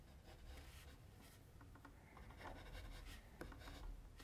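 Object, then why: Pencil tip on drawing paper. A mechanical pencil tip rubs and scratches short strokes on a flat white sheet of drawing paper while the left hand rests on the sheet. The result is a quiet, steady papery scratching with soft bright bursts over a low background rumble.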